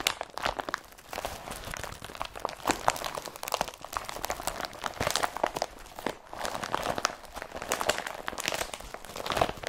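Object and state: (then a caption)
Woven polypropylene carrier bag. An empty blue IKEA BRATTBY woven polypropylene carrier bag is crumpled between both hands. The result is a continuous stream of dense, crinkling crunches with a papery mid-range body and bright hiss, swelling and easing in waves with no low-end weight.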